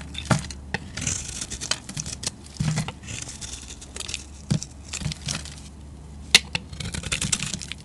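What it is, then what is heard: Bar soap being carved. A solid, rectangular olive-green bar of soap held in the hand is carved with a metal utility-knife blade. Quick, crisp scraping and cutting strokes produce bright, papery, tearing-like shavings with soft low thuds underneath. A sharper snap stands out near the end as the blade slices through.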